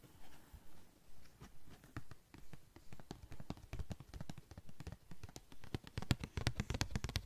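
Long nails tap a thin yellow-green translucent plastic sheet, making quick, dry taps with a soft low thump and crisp bright clicks. The tapping starts spaced and gentle, then grows denser and louder toward the end.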